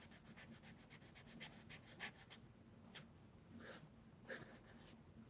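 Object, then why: Charcoal pencil on mixed media sketchbook paper. A charcoal pencil rubs and scratches dark shading onto the page of a mixed media paper sketchbook lying flat on a wooden table, with the other hand resting on the book. A quick run of soft, bright, papery strokes fills the first half, then a few sparser, louder scrapes follow. The sound stays quiet throughout.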